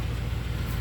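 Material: Nothing is struck.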